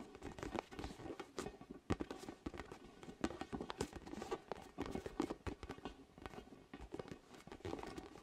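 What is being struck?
Inflated vinyl spiky ball.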